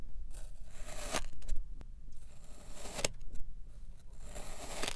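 A white ceramic knife presses and slices through a solid kinetic sand disc with a red waffle-textured top and a green rim in repeated cuts. Each cut gives a soft, grainy crunch and scrape with bright hiss and sharp crackling snaps, over a faint low rumble. The cuts come at an uneven pace, and each sound stops almost at once with no ring.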